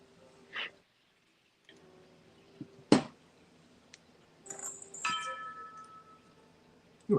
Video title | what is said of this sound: LIVE SALE! 3/2/25 at 7pm est | I keep hitting this console bowl and it rings